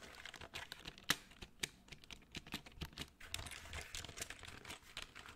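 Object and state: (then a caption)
Plastic computer keyboard. Fingertips type and tap on the keys of a black plastic full-size computer keyboard held close to the microphone. Quick, dry plastic clicks come in an irregular stream, bright and crisp with little low end, with a few sharper, louder taps standing out.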